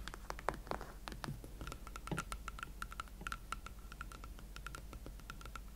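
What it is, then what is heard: Leather platform boot. Fingertips slowly tap on hot pink leather Valentino Club platform boots, making a quick run of soft, dry taps and light scratchy brushes. A faint steady high tone sits under the tapping through the second half, over a low background hum.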